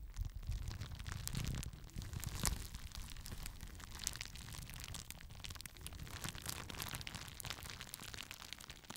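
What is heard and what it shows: A clear plastic bubble wrap sheet is held in both hands close to the microphone while fingers pop the bubbles and crinkle the sheet. Many sharp, bright pops and snaps sit over a continuous rustling crinkle and a low, muffled rumble from handling. A louder crack stands out around the middle of the clip.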